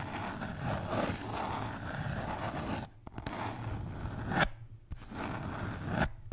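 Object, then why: Beer can holder. A red Bintang beer can holder is scratched and tapped, giving a steady, dense scratching texture with a low rumble. Three sharp taps stand out near the end, separated by brief pauses.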